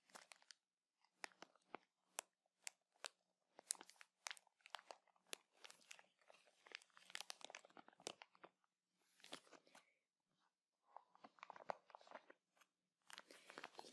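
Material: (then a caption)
Plastic. A clear plastic bag full of cotton swabs is crinkled in the hands, then set on a table and scratched with fingernails. It makes quiet, bright, crackling crinkles in quick irregular bursts with brief pauses between them, and each crackle stops almost instantly.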